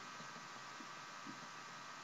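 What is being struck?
Nothing is struck.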